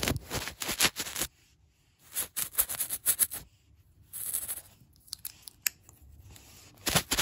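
Long black nails tap and scratch across large, solid hardwood floor planks. Quick clusters of sharp, bright clicks and scratchy scraping come in bursts separated by brief quiet gaps, each tap dying away almost instantly.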